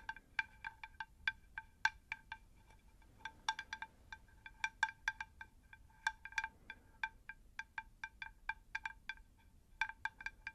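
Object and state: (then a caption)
Terracotta plant saucer. A round, shallow, hollow, empty unglazed terracotta plant saucer about 20 cm across is held upright in both hands and tapped on its flat face with long acrylic nails. The result is a long, irregular series of quick, light taps, each a bright click with a brief chime-like ring at evenly stacked tones around 800 Hz, 1.6 kHz and 2.4 kHz that dies away almost at once over a faint low background hum.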